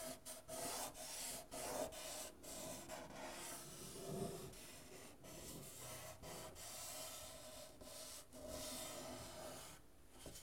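Fingertips and nails scratch and rub across the painted wooden soundboard of a guitar cut in half, a thin hollow wooden body with strings. Steady, bright rasping strokes swell and fade over a faint midrange ring from the hollow body, staying soft throughout.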